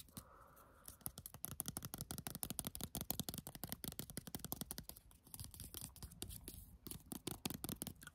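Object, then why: Small squeezable plastic cosmetic tube. A small white squeezable plastic Clarins skincare tube is held between the fingers and scratched and tapped with fingernails. A fast, steady run of short, dry clicks and scratchy taps follows over a low rumble, with a brief softer hiss at the start.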